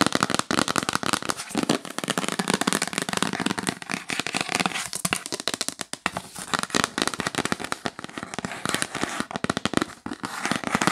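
Long acrylic nails tap fast and aggressively on the lid of a hollow, rigid yellow printed cardboard L'Occitane gift box with a tree illustration, held upright. The result is a dense, continuous stream of sharp, dry clicks and crackly knocks with a bright edge, each tap stopping almost instantly with no ring.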